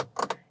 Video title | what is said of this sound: Rivian R1T Review By Mach-E Owners | it doesn't sound like it it sounds like plastic and i believe that it's a thin layer of wood that's like laid over plastic